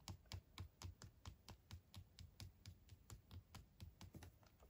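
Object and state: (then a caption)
Hollow milk chocolate egg. Short fingernails tap and click about 22 times on the smooth shell of a small, hollow, unwrapped milk chocolate Kinder egg held between the fingertips, while other wrapped eggs lie nearby untouched. Each tap is a quick, dry click with a bright tick on top and a soft, low, hollow thump beneath, dying away almost instantly. The taps come in a fairly steady, quiet patter.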